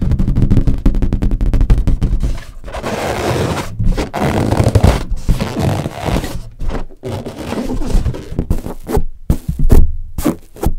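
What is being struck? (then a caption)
Inflated latex balloon. Long nails tap and scratch a large, hollow, inflated green latex balloon, with a red balloon nearby left untouched. A quick run of dull, low, thumping taps gives way to a steady, rough scraping across the rubber, then scattered taps and brief scratches return. The sound is deep and muffled throughout, with almost no ring after each tap.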